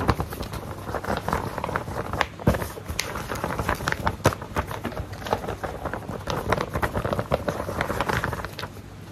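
A single thin white paper sheet is held upright while fingertips and nails tap and rub it and flex it. Continuous soft crackling and rustling is punctuated by many short, sharp taps that fade almost instantly, with louder snaps around the middle and a quieter tail.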